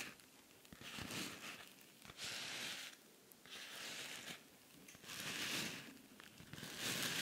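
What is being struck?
Rhinestone-covered cosmetic pouch.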